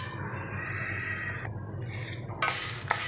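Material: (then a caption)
Cardamom pods. Sun-dried green cardamom pods are stirred in a pan for light roasting, giving a dry, crisp rattle over a low background hum. The rattling shows the pods are dry and crisp, and it ends with a few sharper clinks toward the end.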